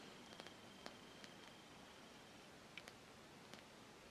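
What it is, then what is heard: Rubber hockey puck. Long painted nails tap and scratch the flat faces and edge of a small, solid black vulcanized rubber hockey puck held in a hand over a jersey. Seven quiet, sharp clicks stand out over a soft, steady hiss, along with a faint steady high whine in the first half.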